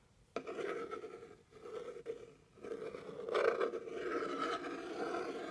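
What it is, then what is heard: Cardboard box, scraped. A thin white stick with a red tip scrapes and rubs across the top surface of a medium, plain, hollow brown cardboard box. It makes quiet, raspy scraping strokes with a hollow mid-range tone, with brief pauses between passes and a slightly louder, rougher stretch near the end.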